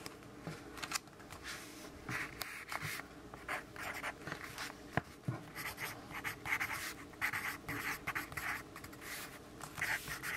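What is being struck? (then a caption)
Graphite pencil on a paper notepad. A yellow graphite pencil writes on a lined paper notepad resting on a wooden desk. Quick, bright scratching strokes come in irregular bursts, with short pauses between words and a few sharper taps of the lead against the page.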